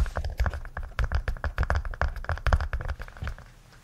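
A small red-orange, heart-shaped hollow case, apparently hard plastic, is held in both hands and tapped and scratched with fingertips and nails. Quick, dry, hollow taps come in a dense, uneven patter, heavy in the low end with very short ring, mixed with faint scratching. The tapping thins out and fades near the end.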